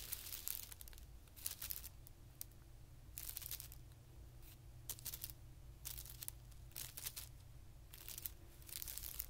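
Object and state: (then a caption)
Tissue paper sheet. Short-nailed fingertips scratch and rub the surface of a flat, thin, white patterned tissue paper sheet lying on carpet. Bursts of bright, crisp crinkling and scratching come and go over a steady low hum. The paper rustles softly between the louder scratching passages.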